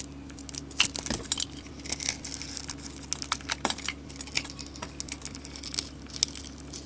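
A solid, hand-sized bar of soap with a gold coating and glitter is held in the hand and shaved with a utility knife blade, peeling off curls of white soap. Many quick, dry, bright scraping and crackling strokes follow one another over a steady low hum.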